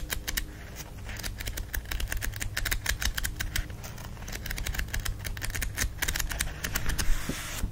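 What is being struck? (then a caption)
Paper book pages. Fingers riffle and flip the page edges of a book with a thick block of paper pages, making a rapid stream of short, crisp papery clicks and flutters. A steady low hum sits underneath throughout.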